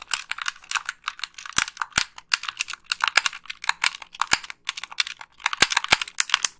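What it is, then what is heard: Plastic game controller, buttons and shell tapped. Long pink nails rapidly click the buttons and tap the shell of a hollow white plastic Xbox 360 gamepad. The result is a dense, irregular stream of short, dry, bright plastic clicks that stop almost instantly and have no low end, with a few sharper, louder taps standing out.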